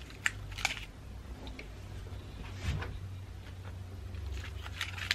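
A pine cone, moss and dried flower ornament ball is held close to the camera while long nails tap and scratch its woody cone scales. Sharp, bright, dry clicks and a soft scraping rustle sit over a steady low hum.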